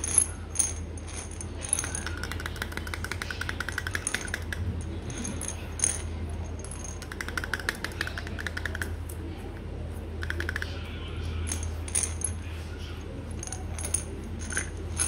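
Fingernails tap quickly on a small amber glass vitamin bottle and its gold metal cap, and the bottle, likely filled with tablets, is shaken. The result is bursts of bright, sharp clicking and rattling over a steady low hum.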